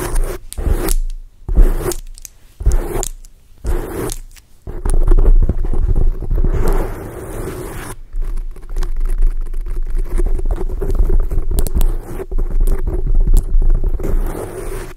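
Long acrylic nails scratch and rub a soft black foam microphone windscreen, making a close, muffled scratching. It starts as short separate bursts, then settles into continuous rubbing with a low, heavy rumble and a steady hum-like tone throughout.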